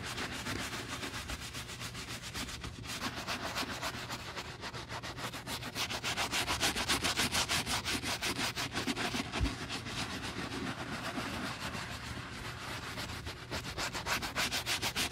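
A black-gloved hand scrubs the soap-foam-covered shaft of a brown leather cowboy boot lying on a table, using a wooden-handled bristle brush. Rapid, rhythmic wet brushing strokes, about three or four per second, make a bright, hissy, frothy rasp that continues steadily and swells slightly in the middle.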